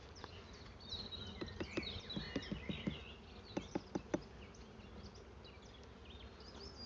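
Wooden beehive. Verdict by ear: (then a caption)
Full. A wooden beehive holding honey frames is tapped to check the colony's reserves, producing a series of short, dull knocks over a steady high buzz of bees. The knocks do not sound hollow, a good sign that the hive has honey stores.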